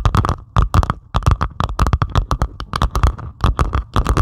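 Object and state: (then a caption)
Diamond painting of resin drills. Long pointed acrylic nails scratch rapidly across the beaded surface of a flat diamond painting made of plastic resin drills on canvas. The result is a quick run of short, dry, rasping scratches, each with a deep rumbling body and a faint bright edge, dying away almost instantly between strokes.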